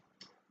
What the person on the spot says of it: if i shake it you can hear it kind of going back and forth